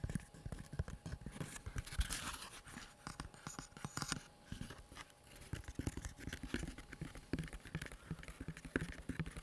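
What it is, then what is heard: Leather gun holster, tapped and scratched. A small, empty, tan-brown tooled leather pistol holster, hollow and stiff, is held in both hands close to a microphone and tapped and scratched with fingertips and nails. Quick, dull, low-pitched taps patter in uneven bursts, mixed with dry scratchy scraping and brief quiet pauses.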